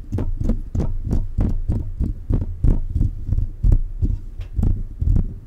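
Fingertips tap the body and hollow mesh grille of a silver metal USB condenser microphone in a quick, steady series of soft thumps. Each tap is a deep, muffled low-end thud with a short bright tick on top, dying away almost at once, over a low background hum.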